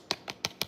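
A corn tortilla, toasted for tostadas until browned but not burned, is tapped four times, giving short, dry, bright clicks with almost no ring. The crisp sound shows it has turned nice and crispy.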